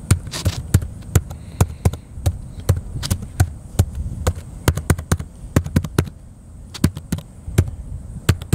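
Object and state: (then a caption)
Plastic laptop keyboard being typed on. Fingertips of the right hand tap the plastic keys of a small blue plastic laptop with a hollow chassis, resting on a metal picnic table outdoors, while typing. The taps come as a steady, uneven run of short, dull, low-pitched knocks with almost no ring. A faint, steady high whine sits underneath throughout.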